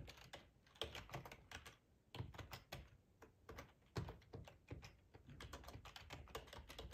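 Fingertips type steadily on a black plastic ergonomic split keyboard with a hollow housing, resting on a cloth tablecloth. The quick, soft keystrokes give dull, low-weighted clacks with short bright clicks that die away almost at once, and a few heavier thunks stand out from the run.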